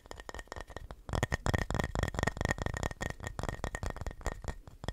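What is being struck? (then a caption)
Painted wooden plaque. A flat, solid wooden plaque shaped like a house, painted red with Christmas text and a heart cutout, is held upright and tapped and scratched with fingertips and nails. Rapid, dull, low-heavy knocks mix with dry scratching, each tap dying out almost at once, with a faint steady tone just under 2 kHz underneath. The tapping grows louder and denser after the first second.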